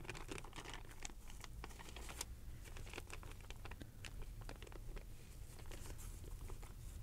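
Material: Paper.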